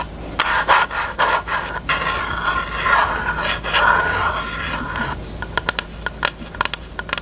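Long nails tap and scratch across a closed, hollow pink hard plastic rectangular case with a cherry print. For the first five seconds there is a busy, dense clicking and raspy scratching with a hollow midrange tone around 1 kHz. Then come sparser, crisp, sharp taps that ring only briefly and have bright tops.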